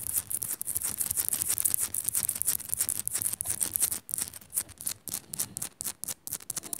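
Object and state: Rock-salt lamp being scratched.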